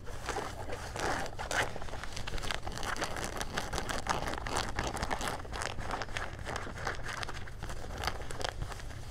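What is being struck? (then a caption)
Denim jean shorts. Fingertips and nails scratch along the pocket and waistband seams of gray denim jean shorts with a leather patch. The result is a dense, continuous rasping scratch with brighter crinkly swipes throughout, over a steady low rumble.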